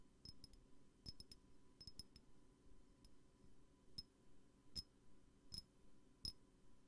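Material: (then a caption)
Glass. Light fingertip taps on a glass perfume bottle give quick, bright clinks with a high, short ring over a soft low rumble. The taps come in irregular clusters and single strikes, each fading almost instantly.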